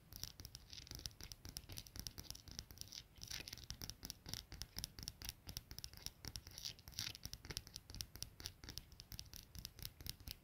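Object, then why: Small brass padlock with steel shackle. Long nails tap and scratch on a small solid brass padlock with a steel shackle resting on a plaid blanket, striking both the shackle and the brass body. A steady stream of quiet, rapid, bright clicks and scratchy strokes continues throughout, each tap dying away almost instantly.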